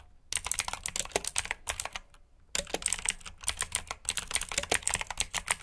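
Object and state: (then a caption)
Mechanical keyboard with clicky switches. Fingertips with short nails type on a full-size black plastic mechanical keyboard with RGB backlit keycaps, clicky blue switches and hollow key housings. Rapid, bright, clicky keystrokes come in two bursts with a brief pause near the middle, each click short and dry with little low end.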